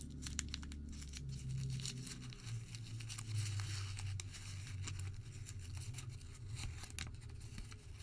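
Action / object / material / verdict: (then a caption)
scrape / thermal paper receipt / paper / none. A white thermal paper receipt is crumpled small, stretched open, then re-crumpled with the fingertips. It gives off a dense run of bright, dry crinkles and crackles over a steady low hum.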